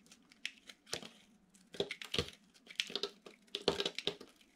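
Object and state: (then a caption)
Dry bar soap being shaved. A metal utility knife blade shaves and cuts crunchy curls off a hand-sized, solid bar of dry orange soap with a gold glitter coating, held in the hand. A quick series of crisp, dry crunches and scraping crackles is heard, bright and short with almost no ring, separated by brief quiet pauses.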